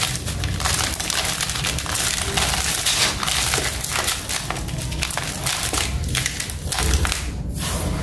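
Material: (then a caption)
Sand cement. Fingertips press into, rub and crush small gritty chunks in a large pile of dry grey sand-cement powder on a concrete floor. Steady crunchy, crumbling grit sounds with a dense rumble underneath continue throughout.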